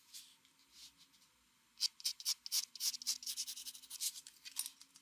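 A mechanical pencil rubs fast, repeated hatching strokes for shading across a flat white drawing paper sheet. A few soft, faint strokes come first, then a quicker run of sharper, dry scratches at about four per second, each short with no ring. The sound is high and bright, with nothing in the low end.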